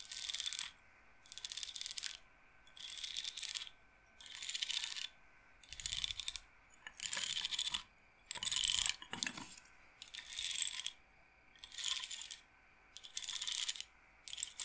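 Long nails tap and roll the wooden beads of a wooden bead roller massager frame held up close. They produce about eleven short bursts of dry, bright clicking and rattling, separated by brief quiet gaps. The sound is almost entirely high and crisp, with no low body.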